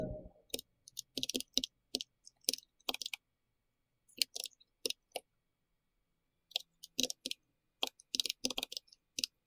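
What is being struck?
Mechanical keyboard with round plastic keycaps.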